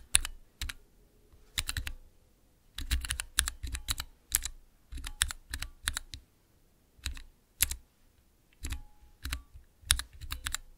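Fingertips press the keys of a small transparent plastic 9-key Cherry MX mechanical keypad, typing in short irregular bursts separated by brief pauses. Each keystroke is a crisp, bright click over a low thock that dies away almost instantly.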